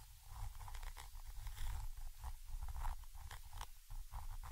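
A thin orange stick, held vertically, scratches the metal mesh grille of a Zoom H5 X/Y microphone capsule. It makes a dense, continuous scraping with quick crackly bursts over a heavy low rumble that dominates the sound.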